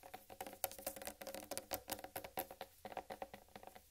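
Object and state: Whole watermelon.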